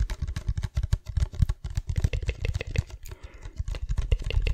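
Long fingernails rapidly tap a hand-sized, hollow, white labelled plastic cosmetic bottle (spray or lotion) held in both hands close to the microphone. The result is a fast, uneven stream of short, dry taps, each a deep hollow thump with a light clicky edge that dies away almost instantly.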